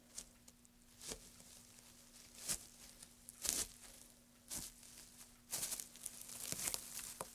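A gloved hand crumples, presses and rustles a pile of dry wood shavings resting on a black surface. Bright, crisp crackling bursts come at irregular intervals, each fading quickly, over a faint steady low hum.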